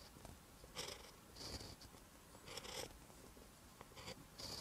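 A ballpoint pen tip writes on a lined paper notebook page, making soft, bright scratching strokes in short bursts. The quiet, close-up scritching rises and falls with each stroke over a faint low background hiss.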